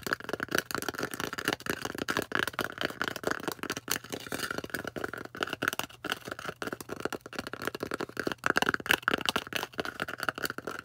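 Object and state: Styrofoam disc.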